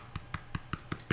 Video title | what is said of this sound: Sourdough Loaf 69 | it sounds Hollow in the middle